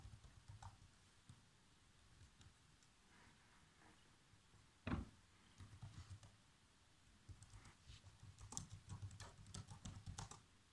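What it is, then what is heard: Plastic laptop keyboard. Fingertips type on the black plastic keys of a laptop keyboard, producing soft, dry taps with a low thud and brief bright clicks. The taps come in scattered bursts, with one louder keystroke near the middle and denser typing toward the end.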